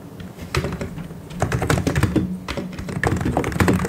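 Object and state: Plastic mechanical keyboard typing.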